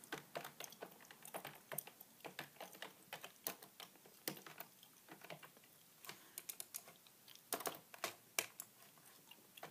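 Two hands type with their fingertips on a beige, full-size plastic keyboard with a hollow body, making about 37 rapid key taps. Each tap is a short, bright click with almost no low end, and the clicks land in uneven bursts over a quiet background.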